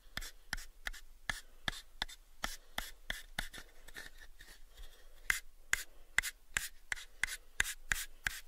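A small, hollow, pale unfinished wooden box, held in both hands, is rubbed and scratched with the fingertips. About 21 short, dry scratching strokes sound with almost no ring, with a papery texture centered near 2 kHz and bright high edges. The strokes come in an uneven rhythm and grow sharper and louder toward the end.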